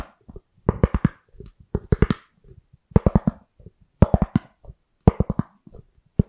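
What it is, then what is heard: Styrofoam lid. A thin, white, round styrofoam lid held beside the microphone is scratched and tapped with long nails and fingertips. Groups of quick, dry taps and scratchy strokes come roughly once a second with short pauses between. The sound is mostly low and hollow, and each hit dies away almost instantly.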